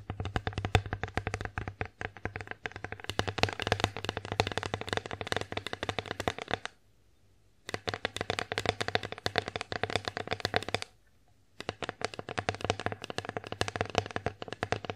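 Long acrylic nails tap rapidly across the surface of an empty wooden bear-face plate, producing dense, dry clicks with a bright edge and almost no ring. The tapping runs in continuous bursts broken by two short silent pauses.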